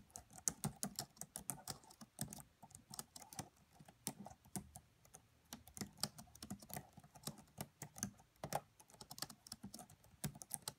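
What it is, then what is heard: Plastic laptop keyboard. Long nails and fingertips type on the black plastic keys of a red laptop keyboard, producing quiet, rapid, bright clicky taps with a soft low thud beneath each. The keystrokes are short and crisp, with almost no ring, coming in uneven bursts over about eleven seconds.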